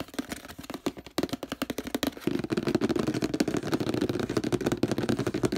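Fingernails tap and scratch the printed paper label on a hollow orange plastic detergent bottle. Quick, sharp, dry taps come first, then at about two seconds they give way to a louder, denser run of rapid scratching and tapping with a hollow, low-mid body.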